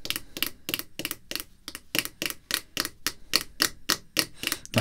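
Red artificial nail tips tap on a clear hard plastic graded card slab holding a baseball card, resting on black cloth and flipped from front to back partway through. Nineteen quick, bright, clicky taps come in a loose, uneven rhythm, each one dry and short with almost no ring.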